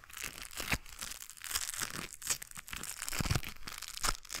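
A pair of white knit work gloves with a blue textured rubber coating is worn while the gloved fingers crinkle and rub together just above the microphone. The result is a continuous, close, bright crinkling and rustling texture, with sharp crackles popping out over a soft low rumble.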